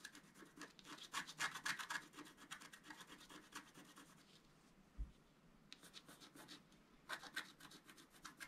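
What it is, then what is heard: Scratch art paper card being scratched. The tip of a wooden stylus scratches across a flat scratch art sheet of black-coated paper, making quick, bright, papery strokes at about four per second. The scratches come in dense bursts, then briefly go quiet, marked by a soft low thump, before resuming.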